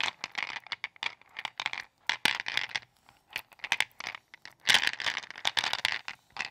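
Long patterned acrylic nails dig into and rummage through a wooden bowl full of small, solid, glossy, multicolored gumballs. The balls rattle and scratch against each other and the bowl in dense, bright clicking bursts with short pauses between them.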